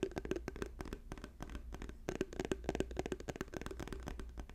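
Fingernails rapidly tap an orange plastic squeeze tube with a white cap held up in the hands. The quick, irregular clicking taps are dry and short, over a steady low hum.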